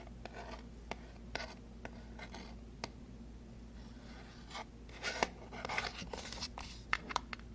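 A small, hollow white cardboard Bread macadamia oil box is tapped with fingertips and fingernails. A string of short, dry taps and clicks sounds over a low steady hum, with a brief scratchy rubbing passage. The taps grow brighter and denser toward the end.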